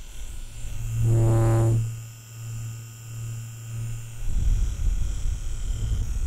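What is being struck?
Nothing is struck.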